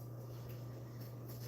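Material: Nothing is struck.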